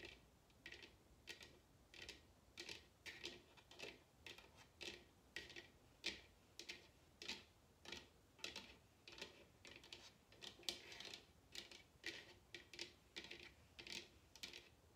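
A large, hollow, empty bamboo wooden salad bowl, turned upside down, is tapped and scratched on its base with long painted nails and fingertips. The result is a steady stream of quick, dry, bright clicks and ticks with very short ring and almost no low end, with faint scratchy rustle between the taps.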